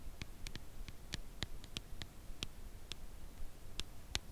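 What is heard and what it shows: Long acrylic nails gently tap a red Lindt Lindor cardboard box holding a chocolate bar, making 13 short, dry clicks at a slow, irregular pace. Each tap is a bright, crisp tick that dies away almost instantly over a quiet, low background rumble.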